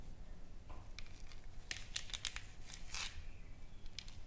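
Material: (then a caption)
Wood. A solid, flat wooden sign painted with flowers and lettering lies on a table and is tapped and scratched with long painted fingernails. Quiet, sharp, bright clicks and dry scratchy strokes come at an uneven pace over a steady low background hum, each tap dying away almost at once.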